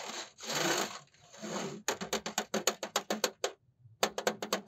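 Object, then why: Laptop cooling pad with metal mesh top and plastic frame. Fingertips rub and scratch across the metal mesh top of a black dual-fan laptop cooling pad with a plastic frame, held in the lap. Three long, bright, hissing rubs give way to a quick run of short, dry scratches, then a brief pause and another burst of rapid scratches.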